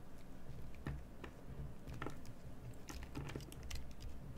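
A solid cream bar of soap held in hand is carved by a craft knife blade, which scrapes the carved face with short strokes. Soft, crisp scratching clicks scatter irregularly over a low, quiet rumble.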